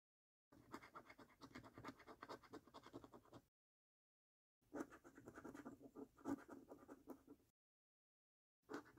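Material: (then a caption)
Paper. A coin held in the fingers scratches the scratch-off coating of a thin paper £1 Million Snack Stack National Lottery scratch card on a dark table, first over the game numbers and then over the order numbers. The result is quiet, dry, raspy scraping in quick, uneven strokes, in two long bursts separated by a pause, with a third burst starting at the very end.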